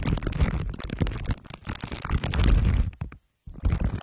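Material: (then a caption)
Aluminium foil. Glue stick tips are pressed against the sides of a microphone head wrapped in crumpled aluminium foil under clear plastic wrap and rubbed. The result is a dense, deep rumbling crinkle with sticky scraping bursts. It cuts to silence for a moment near the end, then resumes.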